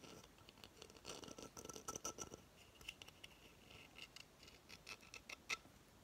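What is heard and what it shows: A hollow coconut shell hamster hideout base has its fibrous surface scratched with long fingernails. The result is a soft, dry scratching of many quick, bright scrapes and light ticks. Some ticks ring briefly with a high, glassy tone.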